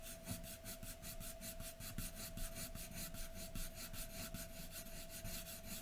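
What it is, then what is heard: Pencil shading on drawing paper. A graphite pencil held in the fingers strokes a large white sheet of drawing paper lying flat on a dark surface, shading hair with continuous hatching and scratching strokes. Quick, rhythmic bright rasps repeat at roughly two to three per second, over a faint steady tone near 650 Hz.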